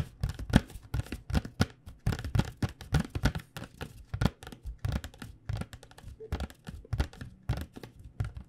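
Long nails tap and lightly scratch the glossy front of a cardboard box of acrylic paint pens. The result is a rapid, uneven run of short, dull, low taps that die away almost instantly, with faint papery scratching between them.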